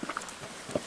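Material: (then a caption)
Stone. A large stone near the village of Kazan, which looks like petrified tree bark and has faint crosses carved on it, is knocked, giving short, quiet taps with a brief ring centered near 590 Hz. The stone sounds hollow and metal-like, a harmonic ring that few stones produce.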